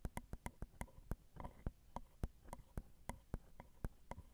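Long decorated acrylic nails tap the small hollow metal mesh grilles of a Zoom recorder's XY microphone capsules on their plastic and metal housing. The result is a quick series of about nineteen soft, sharp clicks that die away almost instantly, with a low boomy thump under a bright metallic tick.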